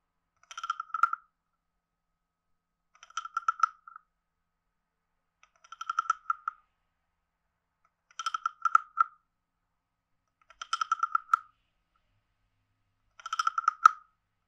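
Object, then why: Carved hollow wooden frog guiro scraped with a stick. A wooden stick taps the head and scrapes the ridged back of a palm-sized, hollow, carved reddish-brown wooden frog guiro. Six short bursts of quick, dry clicking ratchet sounds come about every two and a half seconds, with a hollow woody croak centered near 1.3 kHz and faint bright overtones. Each burst is dry, with almost no ring, separated by silence.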